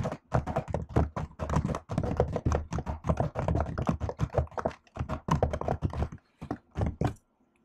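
Fingertips with long acrylic nails type on a silver laptop keyboard with black plastic keys set in an aluminium body. It makes a rapid, uneven stream of short clicks and taps with a dull, thuddy low end and bright nail ticks. There are brief pauses near 1.8 and 6.2 seconds before the typing stops just after 7 seconds.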